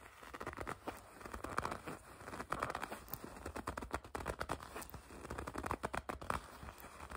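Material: Leather.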